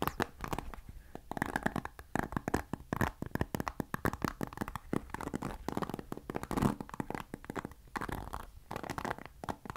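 Fingertips scratch the white-tipped bristles of a black plastic paddle hairbrush close to the microphone. The result is a dense, rapid run of dry, crackly scratching and ticking with short, quick-fading clicks. The texture is full in the low and middle range, with only a little brightness on top.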